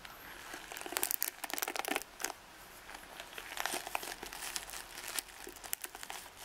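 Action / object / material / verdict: scrape / wooden paddle hairbrush with nylon and boar bristles / nylon, boar bristle / none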